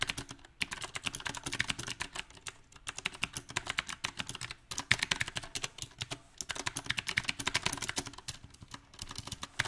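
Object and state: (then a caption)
Mechanical keyboard typing. Both hands type rapid fingertip taps on a compact backlit mechanical keyboard with round plastic typewriter-style keycaps set in silver rings. The bright, sharp clicks come in uneven bursts with short pauses, each tap dying out almost instantly, with a faint low hum underneath.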